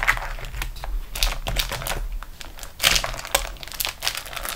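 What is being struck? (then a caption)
Waxed cotton food wrap. A flat beeswax-coated cotton food wrap is rolled and pressed under fingertips and long nails on a table. Dense, bright crinkling and crackling bursts erupt as the waxed sheet bends, over a faint low hum.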